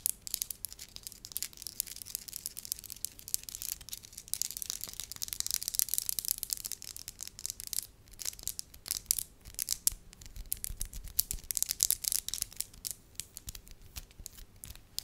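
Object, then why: Lump of soft wax. A flattened, solid lump of soft beige wax is held in both hands and pressed and scratched with long lavender acrylic nails. Dense, bright scratching and crinkly rubbing is heard, with sharp clicks and brief taps scattered throughout and almost no low end. A faint steady hum sits underneath.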